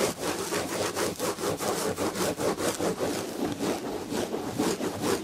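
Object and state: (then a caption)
Fabric-upholstered chair back being scratched. Long red nails scratch the red and gold textured fabric upholstery on the back of a chair. Rapid, rough scratching strokes repeat unevenly in a steady stream, with bright papery rasping over a mid-range body.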